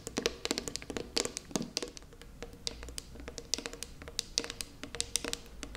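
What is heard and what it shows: Long purple nails tap the lid and side wall of a small, round, closed metal tin of putty held in both hands. The taps come as a quick, irregular run of sharp, bright clicks with a faint metallic ping, each dying away almost instantly over a low steady hum.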